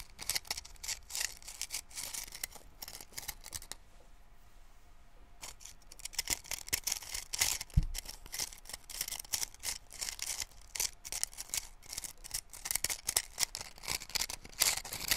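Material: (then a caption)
Cardboard. Painted fingernails scratch and rub along the surface of a small, hollow cardboard matchbox held in one hand close to the microphone. Quick, bright, crackly scratching bursts come in dense runs, with a quieter pause partway through and one short low thump near the middle.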